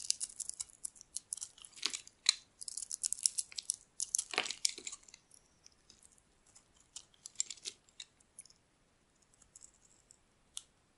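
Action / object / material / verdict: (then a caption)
scrape / bar of soap scraped with a metal blade / soap / none. A metal blade scrapes thin purple shavings off the face of a solid oval bar of dry soap, green outside and purple inside, held in the palm. Dense, bright, crackly scraping fills the first half, then thins into sparser short scrapes and ticks with quiet gaps.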